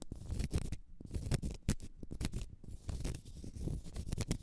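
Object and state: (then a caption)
Cork stopper scratched with nails. Long nails scratch the end face and side of a large solid cork stopper, making rapid, repeated dry scratching strokes. Each short rasping burst carries a dull, low body with a faint bright crackle on top and stops almost at once.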